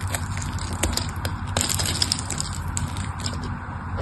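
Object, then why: Solid soap bar. A metal blade slices scored cubes off the surface of a solid pink bar soap held in the hands, and crumbs fall away. Dense, crackly crunching and scraping rises and falls over a steady low hum, with sharp bright clicks from the blade throughout.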